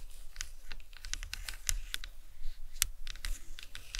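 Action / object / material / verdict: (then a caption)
tap / plastic skull model / plastic / none. Long acrylic nails tap the top and sides of a large, hollow, white plastic anatomical skull cap resting on a towel. The taps come as a quick, steady run of sharp, bright clicks that die away almost at once, over a soft low rumble.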